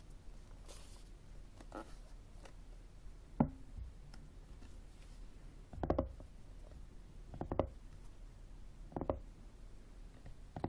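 A flat, hollow, black plastic external CD drive, first held upright and then lying on a table, is tapped and scratched with fingertips and nails. Soft, dull knocks with a low-mid body stand out at intervals over a faint bed of scratching, each dying away almost at once.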